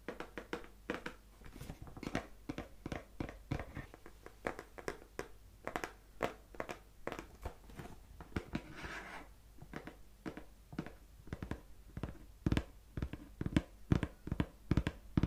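A small, hollow white-and-green printed cardboard skincare gift box, seemingly still closed, is held in the hands close to the microphone and tapped and scratched with the fingertips and nails. Quick, dry, hollow taps come in an uneven stream, about two per second, with a low thump and almost no ring. A brief scratchy rustle of nails across the surface sits in the middle of the clip.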